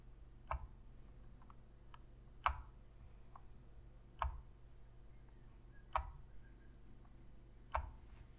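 Long fingernails tap and click on the buttons and grips of a black, hollow plastic PlayStation controller. The sharp, dry clicks come at a slow, uneven pace, each with a hollow knock centered around 1 kHz and a quick decay. A low, steady hum sits underneath.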